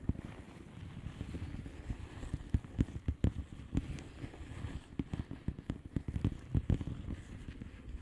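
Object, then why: Plastic bubble wrap envelope. Long painted nails tap and scratch a flat blue plastic bubble wrap envelope with air-filled bubbles. Soft, dull, low-heavy taps and quick clicks land irregularly over a steady muffled scratching rustle, each tap dying away almost instantly.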